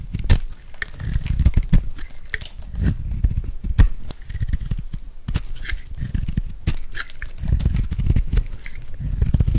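A metal blade scrapes and carves curls off a hand-held, dry, solid bright green soap bar with a gold glitter rim. The sound is a steady stream of dry, crunchy scraping and crackling with a heavy low rumble and sharp bright clicks scattered throughout.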